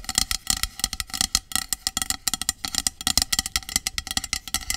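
Long acrylic nails rapidly tap and scratch a hollow, medium aluminum dry shampoo aerosol can lying on its side. The result is a quick, uneven series of bright, sharp metallic clicks and scrapes with almost no low end, each dying away almost instantly with no ringing.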